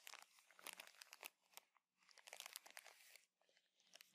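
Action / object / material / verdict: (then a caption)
scrape / thin plastic bag of cotton pads / plastic / none. A clear plastic bag of cotton makeup remover pads with a teal label is held, crinkled and scratched with fingertips and nails. The result is soft, bright, crisp crackling in irregular bursts, with two brief near-silent pauses before the rustling resumes.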